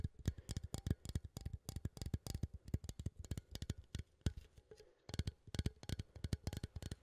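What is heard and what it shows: A small cylindrical metal coffee tin is held upright and scratched and tapped with fingertips and nails near the lid. Quick, dense taps and scratches follow one another closely, each giving a short, dull knock with a bright clicky edge. A brief pause comes just before the five-second mark.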